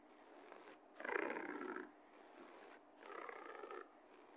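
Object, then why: Low-pile carpet. Fingernails and fingertips scratch fast across a low-pile beige carpet floor, making a soft, rapid, brushy scraping. It comes in two louder bursts of dense, papery friction with a gritty texture, separated by quieter stretches of faint rubbing.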